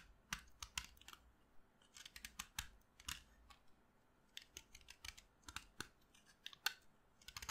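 A short, solid piece of pink chalk held between the fingers is carved with a utility knife blade. The blade makes a quick, irregular series of crisp, bright scraping and cutting ticks with quiet gaps in between. Each stroke stops almost at once, with no ring.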